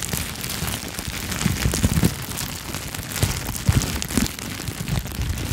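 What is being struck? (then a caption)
Plastic bubble wrap sheet. A clear plastic bubble wrap sheet is held near the microphone and crinkled and popped with fingertips and long nails. A dense, steady crackle of bright crinkling runs throughout, with soft low thumps from the pops rising above it in short bursts.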